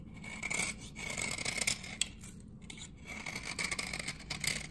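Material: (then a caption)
Soap. A metal blade repeatedly shaves the face of a dry, solid amber glycerin soap bar from 1978 held in the hand. The strokes make bright, rasping scrapes in uneven bursts and come off as dry, flaky shavings.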